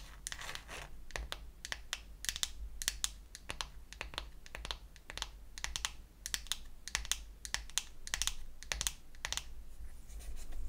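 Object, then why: Small painted wooden toy eyeshadow case tapped with acrylic nails. Long acrylic nails tap and scratch the lid of a small, closed, pink-painted wooden toy eyeshadow case, a hollow box. Quick, sharp, bright clicks come in uneven bursts over a faint scratchy rustle and a steady low hum. Each tap dies away almost at once.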